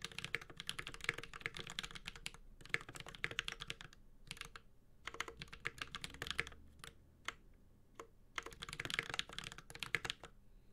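A Space65 Cybervoyager 65% mechanical keyboard with an aluminum case, plastic keycaps and Holy Panda switches is typed on with the fingertips of both hands. Bursts of quick, bright key clacks, peaking around 2.1 kHz, each tap dying almost instantly, are broken by short pauses near 4 and 8 seconds, over a faint low thump from the keys bottoming out.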